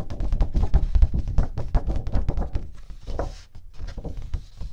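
A thin, flat teal cardstock sheet held in front of the mic is knocked and tapped with long nails and fingertips. It gives a quick, uneven run of dull, low thunks and soft taps that die away at once. The tapping grows softer and sparser in the second half.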